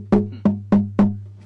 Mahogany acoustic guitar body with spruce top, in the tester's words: it sounds pretty good no matter where you tap on it it's got good tap tones